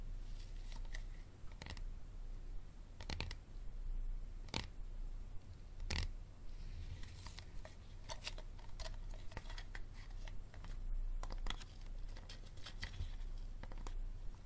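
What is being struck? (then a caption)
Hard plastic water bottle. A hard plastic water bottle is tapped and scratched, giving sharp, bright clicks and short scraping bursts at irregular intervals. A steady low hum sits underneath throughout.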